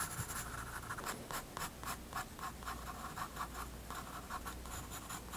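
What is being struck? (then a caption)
Graphite pencil on a paper sketchbook page. A graphite pencil makes repeated short scratching strokes on a page of a spiral-bound white paper sketchbook resting on a wooden desk while drawing a penguin. Each stroke is a dry, papery scratch with a bright, hissy edge, coming in a quick, uneven rhythm over a faint low background hum.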